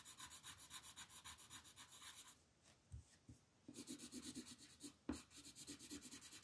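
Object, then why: Wooden colored pencil on a paper sheet. A green wooden colored pencil held in the fist makes fast shading strokes over the leaves of a flat printed paper coloring sheet lying on a table. Quick, rhythmic, bright scratchy strokes run steadily, then break for about a second with a couple of soft taps before resuming. A sharper knock lands near the five-second mark as the shading continues.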